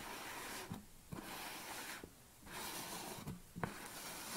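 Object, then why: Plastic supplement tub. Long nails tap the lid and upper sides of a large black plastic supplement tub standing on a table. Several sharp, hollow clicks stand apart over a steady, breathy hiss.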